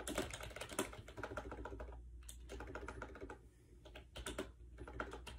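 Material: Plastic.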